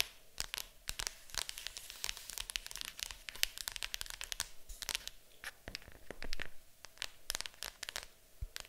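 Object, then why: Cardboard board game box lid. Long acrylic nails tap and scratch on the lid of a large, hollow, printed cardboard board game box. The result is a dense stream of sharp, dry clicks with crinkly, scratchy rustling in between, bright in tone and with almost no ring after each tap.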